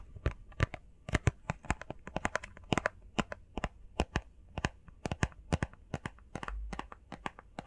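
Long painted fingernails tap quickly on a small, hollow, rectangular printed cardboard box for face masks, blue and covered in text. Around 39 short, dry clicks fire off in an irregular rapid stream, each sharp and bright on top with a faint hollow thump underneath, and none of them ring on.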